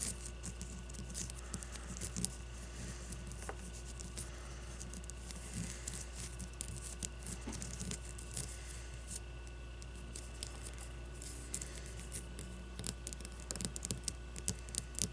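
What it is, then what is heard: Leather baseball. Long nails scratch and tap across the cover and seams of a solid white leather baseball. The result is soft, dry scratching broken by quick light taps over a steady low hum.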